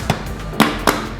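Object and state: Baked bread loaf, hollow (done).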